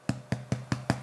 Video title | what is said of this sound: How to Make Soft Low Carb Gluten-Free Rolls (Vegan & Dairy-Free) | tap the base they should sound hollow all the way through